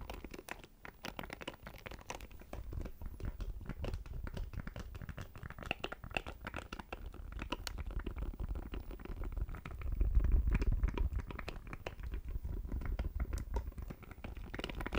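Fingernails tap and scratch a small, hollow black plastic audio interface. The result is a dense, irregular stream of short, dry taps and scratchy crackles, mostly dull low thumps with little brightness. It grows slightly louder around the tenth to eleventh second.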